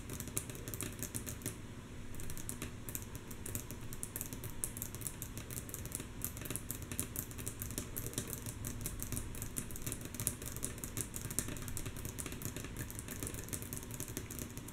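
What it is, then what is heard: Wooden tabletop tapped with fingernails. Long natural nails of both hands tap rhythmically on a solid, flat, light wooden tabletop, mostly softly. A fast, steady stream of dry, clicky taps with a low woody thud beneath, each tap dying away almost instantly.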